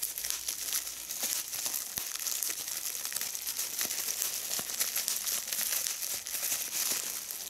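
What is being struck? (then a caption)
Plastic bubble wrap. Long red nails pinch and pop individual bubbles on a small piece of clear plastic bubble wrap held between the fingers, crinkling the film. A steady, bright crinkle runs throughout, broken by sharp little clicks and pops, with almost no low end.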